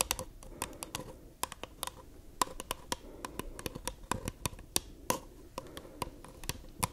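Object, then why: Paper cup. Long nails tap rapidly on the wall and base of a small, empty white paper cup with a printed rim, held hollow on its side. The result is a quick run of dry, hollow clicks with a bright edge and a resonant note around 1 kHz, each one dying away almost instantly.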